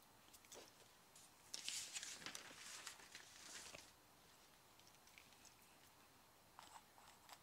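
A mechanical pencil writes across a yellow lined sheet of a paper legal pad lying flat on a wooden desk, its tip scratching the paper surface. Quick, bright, dry scratching strokes crowd together through the first half, then thin out into quieter, sparser ticks of the lead.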